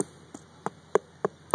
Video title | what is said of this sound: Tree Inspection | this is all dead wood here you can hear it's Hollow